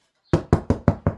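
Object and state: Hollow-sounding bread loaf (fully baked).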